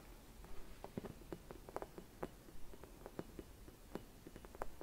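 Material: Glass.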